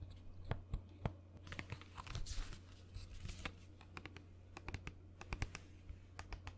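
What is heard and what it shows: Long nails tap a quick, uneven series of sharp, crisp clicks on the body and blue plastic cap of a hollow white plastic lotion bottle. Some stretches blur into brief, bright crinkly scratching, and a steady low hum sits underneath throughout.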